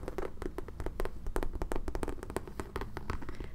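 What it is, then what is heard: Pebbled leather handbag. Fingertips and nails tap rapidly on the front panel and side of a medium black pebbled leather tote with two top handles and metal side hardware, held up and hollow. The quick, light taps come in an irregular stream, each giving a short, dull knock with a soft click on top and a low, muffled body that dies away almost at once.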